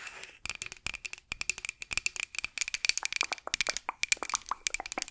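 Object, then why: Light wooden rolling pin tapped with fingernails. Long acrylic nails rapidly tap and scratch a solid light-wood rolling pin with handles, held across the microphone. A quick, uneven run of sharp, dry clicks and brief scratches, each dying away almost at once, with a bright ring near 2.4 kHz and almost no low end.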